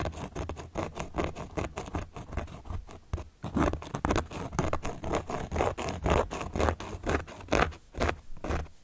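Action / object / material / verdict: scrape / cork board / cork / none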